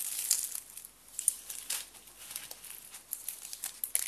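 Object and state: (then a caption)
Dry soap sheets crushed. A bundle of thin white dry soap strips is bent and crushed between fingers with blue nails. A rapid, irregular series of dry, bright crinkling snaps and crunches sounds, with almost no low end and no ring after each crack.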